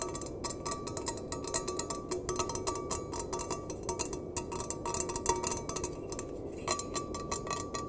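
Fingernails tap and scratch the bottom and sides of a small, empty stainless steel mug. Rapid, dense clicks and scrapes with bright, high edges ring briefly with a metallic tone near 930 Hz over a steady, soft rustling bed.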